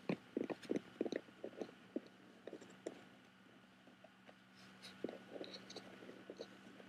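Fingertips and nails tap and scratch the woven texture of a hollow bamboo-covered box with a metal clasp while both hands grip its sides and front. Quick, dry, irregular taps cluster in the first three seconds over a faint steady hum, then give way to softer scratching before another run of lighter taps and crackly scrapes.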